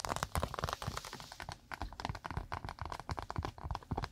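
Long acrylic nails rapidly tap and scratch a round, flat, thin solid cork pot stand held close in front of the microphone. The result is a fast, irregular stream of short, dry taps and crackly scratches with soft low thuds and almost no ring.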